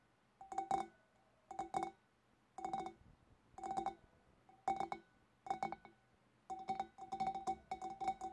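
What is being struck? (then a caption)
Empty glass fish bowl. Long black nails tap on the sides of a large, hollow, empty clear glass fish bowl, then on its wavy rim. Short bursts of quick clicking taps ring with a clear glassy tone around 780 Hz and bright overtones. Quiet pauses separate the bursts, and the taps come closer together near the end.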